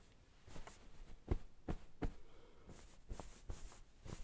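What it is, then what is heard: Cotton-covered pillow. White satin-gloved hands smooth and pat a soft pillow in a light floral cotton pillowcase resting on a wooden table. Five muffled, low thumps stand out against a quiet bed of soft fabric rustling and brushing, with faint high swishes as the gloves slide over the cloth.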